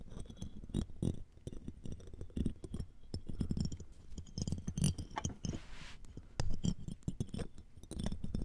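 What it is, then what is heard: Metal mesh microphone grille being scratched. A looped metal ear-pick and tweezers scratch across a metal mesh microphone grille framed by a jeweled earring. The result is a dense run of short, scratchy taps and rasps, heavy in low thumpy tones with a faint bright glint. Each hit dies away almost instantly, and a brief airy hiss sweeps through near the middle.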